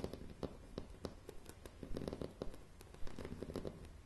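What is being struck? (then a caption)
Pine floorboards. Long nails tap and scratch across solid, light pine floorboards in quick, irregular strikes. The dull, low-heavy knocks die away fast, mixed with soft, bright scratching between them.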